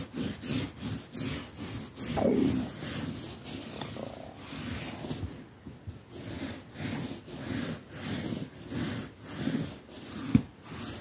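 A hand scrubs a soft, padded quilted cotton mattress cover with a plastic toothbrush in fast strokes. The result is a steady, rhythmic brushing and rubbing sound with a low, dull body and a soft bright hiss on each pass. One sharper click stands out near the end.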